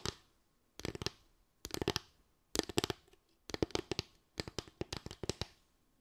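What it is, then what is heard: Bamboo slatted stand. Long acrylic nails tap and scratch across a small slatted bamboo board or stand with a ridged top, likely hollow underneath. Six bursts of quick, dry clicking taps are separated by short pauses, each with a hollow low-mid body and bright edges. The sound dies away almost instantly after each tap.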